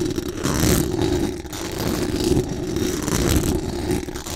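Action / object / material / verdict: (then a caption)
scrape / metal mesh microphone grille / metal mesh / none. Very long acrylic nails scratch fast and aggressively across the hollow metal mesh dome grille of a large condenser microphone. The result is a continuous, dense rasping roar with heavy low rumble, a steady tone near 350 Hz, and sweeping bright scratchy hiss that swells and dips with each stroke.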